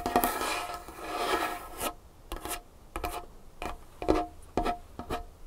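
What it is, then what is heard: Wooden tabletop scratched and tapped. Long nails scratch across a large, solid, varnished wooden tabletop for about two seconds, making a dense, bright rasping sound. A series of short, separate taps and brief scrapes on the same surface follows, each one quick and dry with a faint woody ring.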